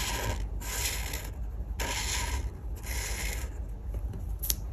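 A felt-tip art marker held in the fingers rubs and scratches back and forth across a flat printed paper colouring page on a table while colouring in a bread slice. The strokes come as bright, hissy scratching bursts with short quiet gaps, over a steady low hum. A brief sharp tick sounds near the end.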